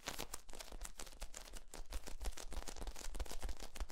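A long, hollow, ribbed yellow corrugated plastic tube is stretched out and bent in both hands while fingertips work along its flexible ribs. The ribs give a rapid, irregular run of sharp pops, clicks and creaks over a deep low thump. The crackling grows slightly louder and denser toward the end.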